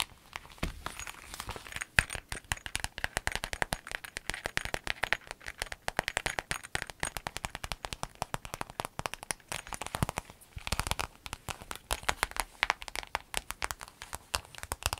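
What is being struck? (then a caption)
Clear vinyl zip bag. A clear, empty lemon-print vinyl zip pencil bag is flexed in the hands while long nails tap and scratch its surface. Dense, rapid crackling and crinkling clicks run throughout, bright and dry with very little ring, steady like light rain.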